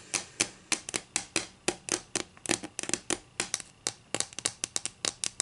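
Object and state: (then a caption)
Wooden ruler. Long nails tap and scratch a solid wooden ruler lying edge-on on a table. About 25 sharp, dry clicks come in an uneven rhythm over 5.5 seconds. Each is bright and crisp with almost no low end and dies away almost at once, with a faint scratchy rasp between them.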